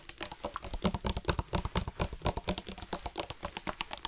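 A black hard-plastic sports water bottle with a flip-top cap, hollow and partly filled with water, is held in both hands and tapped rapidly with fingertips and nails. About thirty quick, dry taps come in an uneven patter, each a short, dull low knock with a bright clicky edge that dies away almost instantly.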